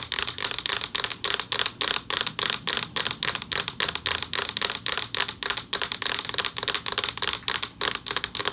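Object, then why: Flat metal plaque. Quick, bright fingernail clicks on a flat metal plaque, each dying instantly with almost no ring.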